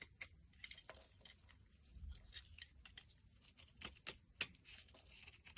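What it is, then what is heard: Bar soap being scraped. A blade scrapes the edge of a solid pink bar of soap held in the palm, and the shaved flakes fall onto a pile. The quiet, bright, crisp scraping comes in quick, irregular strokes, with a few sharper clicks standing out.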